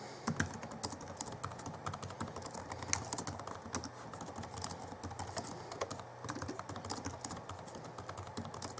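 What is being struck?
Plastic laptop keyboard.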